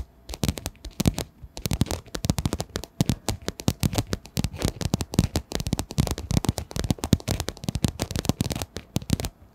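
Long nails on both hands tap quickly across a hollow pink padded fabric pencil case. The result is a dense, uneven patter of short, dry taps, each with a soft low thump and a brief bright click that dies away at once.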